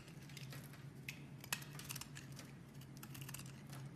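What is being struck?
Bar of soap cut with a metal blade.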